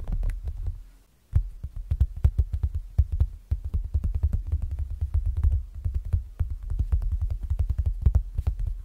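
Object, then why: Clear plastic binder cover over paper. Fingertips tap rapidly on the clear plastic front cover of a closed zip planner binder lying flat, with a paper insert beneath the plastic. The taps land as a dense run of short, dull, low thumps with quick, crisp clicks on top and almost no ring. They stop briefly near the one-second mark, then continue steadily to the end.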